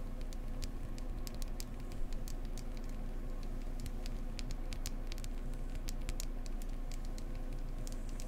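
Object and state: Beeswax candle tapped.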